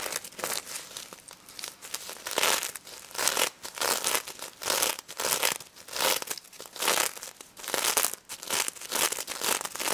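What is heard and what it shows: Long red nails scratch and flip the plastic sequins on a pink stuffed plush pig toy, with some tapping. The result is bright, crinkly scratching in irregular bursts of rustling clicks, with almost no low end.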